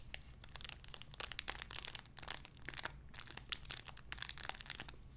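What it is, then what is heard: Crinkly plastic bag with soft toy inside. A small clear cellophane-like plastic bag holding a soft white-and-pink squishy animal toy is held in both hands and crinkled and squeezed with fingertips and long red-painted nails. It gives a dense run of bright, crackly crinkles with quick, sharp bursts that stop dead. A faint low hum sits underneath throughout.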